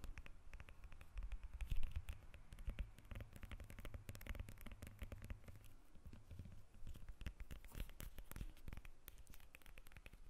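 Long red acrylic nails scratch the peel of a whole, solid yellow lemon held in both hands. A dense run of quick, crackly scratches and light taps plays over a steady low hum. Each scrape stops almost at once, with no ring.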